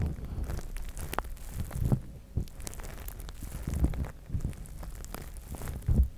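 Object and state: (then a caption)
Plastic spiked massage mat. Both hands scratch and tap the spikes and pads of a large, flat, gray plastic spiked massage mat with fingertips and short nails. The result is a steady run of soft, muffled scratching with dull, deep thumps, heavily weighted toward the low end, with a few louder taps standing out.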